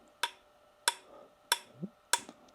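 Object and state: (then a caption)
Heavy multi-layer turntable platter, dead with no ring. The heavier multi-layer metal turntable platter from a Technics SL-1200G is struck four times, each hit a short, bright tap that dies almost instantly into a dead thud with no ring. The lack of ringing shows this platter is more inert.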